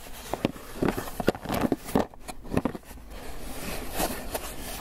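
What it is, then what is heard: Styrofoam takeout box. A closed, hollow white polystyrene foam clamshell takeout box is held in one hand and scratched and tapped with fingernails on its bottom and sides. Dry, hollow taps land in an uneven series over soft, scratchy rustling, each tap dying away at once with no ring.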